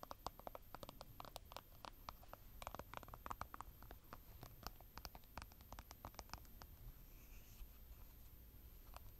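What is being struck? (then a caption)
Plastic concealer tube. Long painted nails tap and scratch along the body of a slim, hollow plastic concealer tube with a blue cap, held in both hands. A quiet, rapid run of short, dry clicks and scratchy taps sits over a low background rumble and a faint steady high tone.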